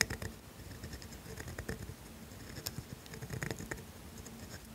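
A pointed steel dip pen nib scratches continuous ink strokes across a thin sheet of grid paper, writing cursive letters. Quiet, dry scratching comes in short bright scrapes with a faint squeaky edge, separated by brief pauses over a low, soft background.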